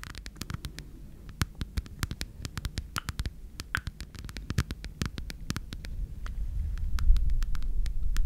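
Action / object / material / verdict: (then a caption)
scrape / rhinestone-covered heart keychain / rhinestones / none. A small red heart keychain with a rhinestone-covered surface, held up near the microphone, is scratched rapidly with long red nails. The result is a fast, uneven stream of short, sharp clicks and scratches over a low, rumbling hum that grows louder toward the end.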